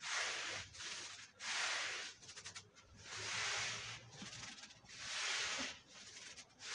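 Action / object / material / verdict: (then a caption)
scrape / wool pile rug scrubbed with a stiff brush / wool / none. A dirty, red patterned woven wool Persian rug lies flat on a white floor, wet and covered in powder and foam, as a long-handled stiff push brush scrubs it back and forth. Five long, bright, hissing strokes are heard, with softer, choppier bristle scratches in between.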